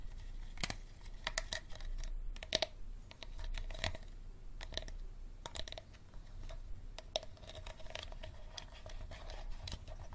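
Fingernails tap and scratch the green plastic cap and the shoulder of an empty clear plastic water bottle. Quick, dry clicks with a hollow ring near 640 Hz mix with bright, crinkly scratching over a steady low rumble.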